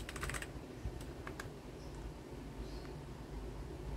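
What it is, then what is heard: Plastic mechanical keyboard. A white Garuda Gear GG68B wireless 65% mechanical keyboard, with ABS plastic keycaps and a plastic case, lies flat on a desk with its RGB backlight on while fingertips with nails press and tap the keys. A quick cluster of bright, clicky keystrokes comes first, followed by a few scattered taps. A steady low hum continues underneath throughout.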